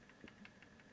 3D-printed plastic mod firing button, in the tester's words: little bit of movement and I can hear that a little bit if I shake this